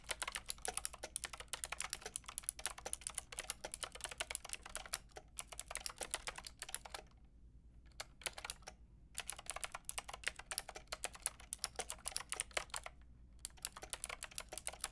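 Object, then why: Mechanical keyboard with round plastic keycaps. Long painted nails and fingertips type rapidly on a white-pink backlit mechanical keyboard with round plastic keycaps and a hollow plastic case. Bright, clicky key taps come in dense bursts, with brief pauses near 7 to 8 seconds and around 13 seconds. A faint low hum sits underneath.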